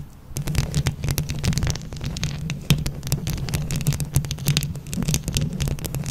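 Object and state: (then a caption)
Rhinestone-covered microphone scratched with nails. Long nails on both hands scratch a microphone grille covered in plastic flower rhinestones, producing a dense stream of rapid, bright clicks and scrapes. Underneath runs a heavy, low throbbing rumble with a steady hum. After a brief quieter start, the sound stays busy and fairly even to the end.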